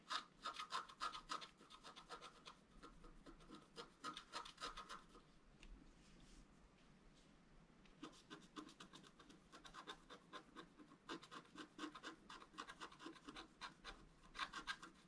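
A wooden stylus scratches fine lines into a flat black coated scratch art paper board sheet. Quick, uneven strokes make dry, bright scratching with a faint whine around 1.2 kHz. The scratching eases into a softer stretch in the middle, then picks up again in dense bursts.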